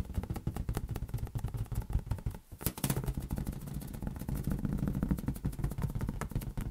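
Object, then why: Inflated latex rubber balloon. A large, hollow, air-filled green latex rubber balloon is tapped rapidly with fingertips, giving a fast stream of short, dull, low thumps. Each tap dies away almost at once, and the run of taps carries on with only a brief dip partway through.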